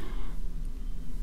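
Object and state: Nothing is struck.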